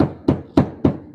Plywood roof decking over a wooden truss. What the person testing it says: if you find a truss you can actually hear that thud